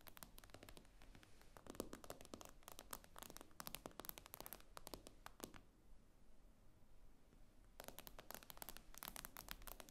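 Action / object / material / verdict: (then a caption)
tap / tablet glass screen / glass / none. Long nails tap rapidly on the glass screen of an iPad lying flat, making quick, dry, bright clicks with almost no ring. The tapping comes in dense bursts, pauses for about two seconds near the middle, then resumes at the end.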